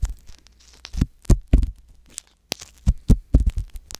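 A wooden ear pick scratches inside the ear canal of a soft silicone ear mounted on a white box binaural microphone. It makes a series of irregular, short, deep thumping scrapes and rustles, with faint bright crackle between them and a brief silent gap midway.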